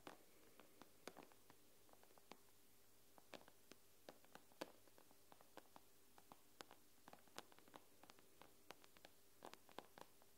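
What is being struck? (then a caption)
Glass tablet screen. Long nails tap on the glass screen of an iPad, making about 34 quiet, sharp clicks at an irregular pace. Each tap is a brief, bright tick that stops at once, heard over a faint low hum.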